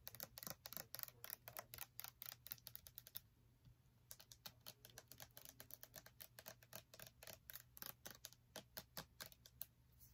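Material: Plastic.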